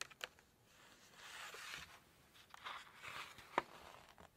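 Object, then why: Glossy paper book pages. Long nails scratch and rub across the glossy paper pages of an open cookbook as the pages are handled. Quiet, bright, papery rubbing swells in and out, broken by a few sharp, dry ticks and crinkles.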